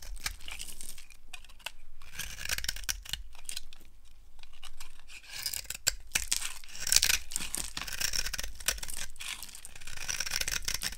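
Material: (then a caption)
Soap. A yellow-handled blade carves shavings off the top edge of a solid, dry brown soap bar held in the hand. Dry, crisp scraping and crumbly tearing strokes repeat throughout, bright and hissy up high, with a steady low rumble underneath.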